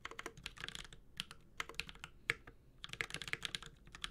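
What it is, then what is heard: Mechanical keyboard with plastic keycaps and metal case. Continuous typing with the fingertips of both hands on a Space65 Cybervoyager, a 65% metal-case mechanical keyboard with Holy Panda switches and ABS plastic keycaps. About twenty quick, bright clacks with short, dry decays ride over a low, quiet background.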